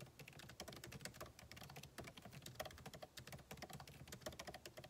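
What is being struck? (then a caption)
Laptop keyboard, plastic keys. Fingertips of both hands type rapidly on the backlit keyboard of a MacBook Pro, with plastic keycaps set in a solid aluminum body resting on a desk. A dense, steady stream of short, dry key taps follows, each one a crisp click with a bright top and a hollow mid-range knock that dies away almost at once.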